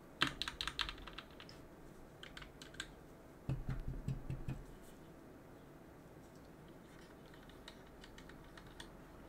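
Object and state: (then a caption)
Mechanical keyboard being cleaned. A cotton swab held in a gloved hand rubs and scrapes around the exposed switches of a mechanical keyboard with plastic keycaps on an aluminum plate. Bursts of bright, dry clicks and scratchy scraping come in irregular clusters, with a denser, thumpier stretch in the middle. Afterward, only faint, sparse ticks remain over a quiet background.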